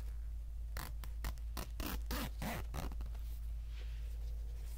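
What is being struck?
Polyester pencil bag with plastic zipper.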